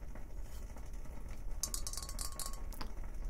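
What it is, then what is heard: Glass bong. A tall, clear, hollow glass bong held upright in one hand is tapped along its glass tube with fingers or nails. Short, bright glassy clinks with very little ring cluster near the middle of the clip over a steady low rumble.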